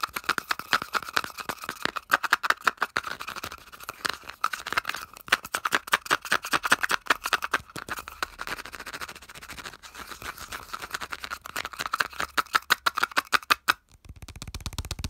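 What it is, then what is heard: Plastic aerosol cap scratched and tapped. A fingertip and nail rapidly scratch and tap the ridged surface of the white molded plastic base cap on a hollow aerosol can. The result is a fast, dense stream of dry plastic clicks and scrapes with a hollow tone centered near 1.3 kHz and bright edges. Each click dies away almost instantly, and the tapping stops just before the end.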